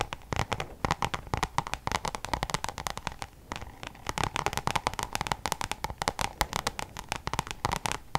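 Long nails tap rapidly on a Louis Vuitton coated-canvas zip pouch held up in front of the face. The result is a dense run of sharp, dry clicks with a faint rustle between them, each tap dying away almost instantly with a bright crackly edge.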